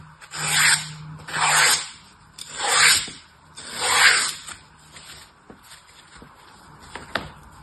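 A solid, dry green floral foam block, held by the fingertips, is carved and rasped with an orange utility knife. Four long, bright, hissy rasping strokes follow one another, then quieter light scrapes and small clicks with a sharper tick near the end.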